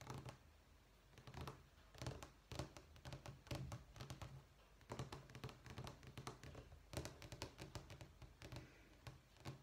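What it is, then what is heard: Vinyl flooring sample book. Fingertips and short nails tap and scratch across a thick vinyl flooring sample book lying on a wooden table, moving over the textured top sheet with its printed terracotta tile pattern and along the grout lines. Dull low thuds mix with bright, dry clicks and scrapes that die away almost at once, coming in quick clusters separated by brief quiet gaps.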